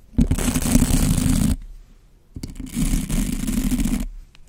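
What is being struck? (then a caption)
Bristle brush on a foam microphone windscreen. A white plastic bottle brush with soft bristles is brushed and rubbed with the fingertips across a black foam windscreen over a microphone. Two passes of dense, scratchy rubbing, each lasting over a second with a short quiet gap between them, combine a strong low, muffled rumble with a bright hiss.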